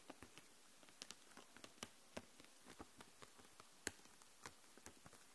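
Long nails tap and scratch across the plastic marker barrels in a clear plastic case full of markers lying flat. About fifteen soft, sharp clicks land at an uneven pace, each dying away almost instantly, over a faint, quiet hiss with light scratchy rustling in between.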